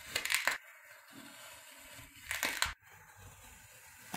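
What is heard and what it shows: A thin knife blade presses down through a flat, solid, rounded-square slab of pink kinetic sand on a white surface, already scored into strips, making crosswise cuts that crumble it into small cubes. Crisp, bright crunching and grainy crushing bursts come in two short clusters, separated by quiet stretches of faint low rustle, with another crunch starting at the very end.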